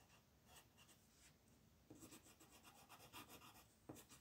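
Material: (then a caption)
Paper. A yellow-gold colored pencil held in the fingers rubs and scratches back and forth over a thin printed paper mandala coloring sheet lying flat on a dark wooden table, coloring small areas while the other hand with red nails rests still on the sheet. The quiet, papery scratching comes in soft bright strokes that grow a little louder and denser in the second half.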